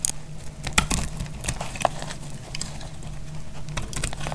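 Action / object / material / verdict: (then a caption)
scrape / glycerin soap bar cut with a metal blade / glycerin soap / none. A snap-off metal blade held in the hand cuts through a solid, translucent, dried blue glycerin soap bar, and crunchy slivers come off. Quick, dry, crackly snaps and scrapes flare bright and sharp over a steady low hum. The sharpest crunch lands just before the one-second mark, and a constant stream of gritty crackling continues to the end.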